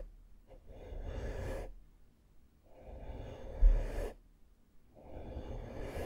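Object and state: Nothing is struck.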